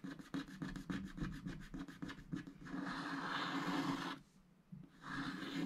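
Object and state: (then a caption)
Scratch art card being scratched. A wooden stylus scratches a giraffe shape into a thin, black wax-coated scratch art card with long strokes while the other hand rests on the sheet. First comes a quick series of short, dry scratching strokes, then a longer, steadier rubbing scratch. After a brief near-silent pause, the scratching resumes.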